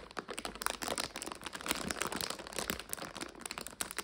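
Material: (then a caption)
Plastic. A medium clear plastic bag with a printed label, full of dried egg noodles and standing on a sofa, is scratched, tapped and squeezed by long acrylic nails and fingertips. Dense, crisp crinkling and crunching with quick bright clicks runs throughout, with little low end.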